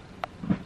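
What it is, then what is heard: Ripe melon, sounds hollow. Someone taps a melon twice to check whether it is ripe, giving a short light tick and then a dull, low hollow thump. The hollow sound means the melon is ripe and good to eat.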